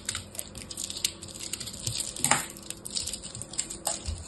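A blade cuts into a hand-sized solid ball of pressed teal and orange soap chips, crushing it. A rapid series of crisp, bright crunches and cracks is heard, with the sharpest crack near the middle. Each snap dies away almost at once.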